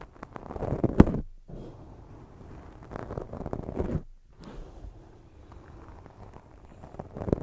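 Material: Foam.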